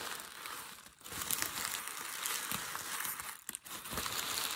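A hand grabs a large crumpled sheet of grey packing paper and crumples it into a wad. The result is dense, bright crinkling and crackling that runs almost continuously, with brief quiet dips near 1 second and 3.5 seconds.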